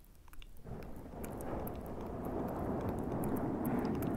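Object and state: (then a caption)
Foam microphone windscreen being rubbed and tapped. Fingertips from both hands grip, rub and tap a black foam windscreen on a Zoom recorder. A few faint taps open the clip, then a dense, continuous scratchy rustle and crackle of the foam sets in and grows slightly louder, holding steady to the end.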